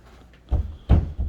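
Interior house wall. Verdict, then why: Solid. An interior house wall between a bedroom and an arts and craft room is knocked a few times, giving dull, low thuds with very little ring. It sounds solid, suggesting a support wall that could be opened up only with a header across the span.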